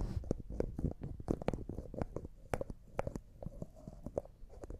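A small, empty, clear glass cosmetic jar with a white plastic lid has its lid twisted and tapped with fingertips and nails. A rapid series of soft, dull taps and clicks comes through, mostly low and muffled, with a faint midrange tone around 500 Hz. Each tap dies away almost instantly.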